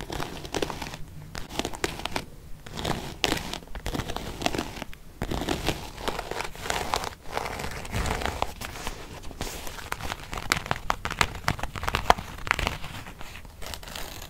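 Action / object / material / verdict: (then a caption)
scrape / quilted faux-leather zip wallet / faux leather / none. Long painted nails scratch and rub across a small, closed, beige quilted faux-leather zip-around wallet. The result is a steady run of dry, crinkly rasps and scratchy strokes with a bright, papery texture and brief pauses between bursts.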